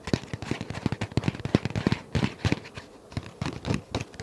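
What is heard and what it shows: A flat dark paper envelope is held in both hands close up while nails and fingertips tap, scratch and handle it. A rapid run of short, dry, crackling taps with a low thump to each one is broken by brief soft scratchy rustles.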